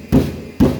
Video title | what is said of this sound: เปรียบเทียบกันเลยทำมัยรถรุ่นเก่า🚍ตัวถังรถถึงแข็งแรงกว่ารถรุ่นใหม่ๆ🚔👍 | เสียงต่างกันมากเลยนะครับนี่ก็คือการเปรียบเทียบคุณภาพของเหล็กรถรุ่นเก่ากับรถรุ่นใหม่